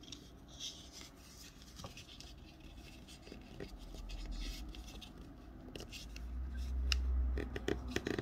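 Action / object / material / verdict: scrape / thin wrapping paper sheet / paper / none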